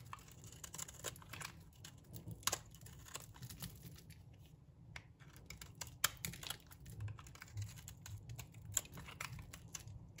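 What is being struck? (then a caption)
Bar of soap shaved with a metal blade. A solid, dry green bar of soap is held in the hand while a metal blade shaves thin flakes off it. The result is a dense run of quick, crisp scraping clicks with bright crackle over a soft low rumble, and a few sharper snaps stand out.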